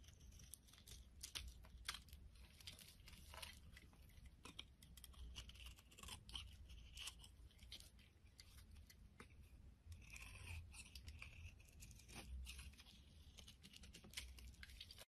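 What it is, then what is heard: Bar of soap being carved. A utility knife blade carves and scrapes a solid pink soap bar held over a pile of shavings, cutting off crumbly flakes. Quiet, dense crunching and scratchy scraping ticks run continuously, with a bright edge and a low rumble underneath.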